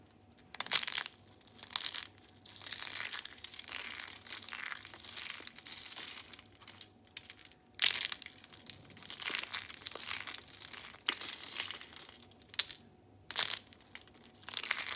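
Thin carved curls of dry pink soap are bent and crushed between fingers and thumbs, breaking into crunchy pieces. Bright, dry crinkling and crackling crunches come in bursts separated by short quiet gaps, with almost no low end and no ring after each snap.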